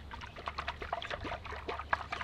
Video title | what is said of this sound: VEGAN MILK - HOW TO MAKE COCONUT MILK - Nut to Milk! | you can hear the water sloshing around in it and that lets you know this is a pretty mature coconut